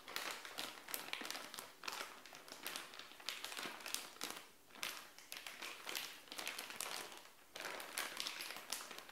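Long nails and fingertips scratch, tap and crinkle across a clear plastic bag with a black sticker, sealed around a purple padded bikini top lying flat on a tile floor. The sound is a dense, bright rustle of crackling plastic, broken by many quick taps and short pauses.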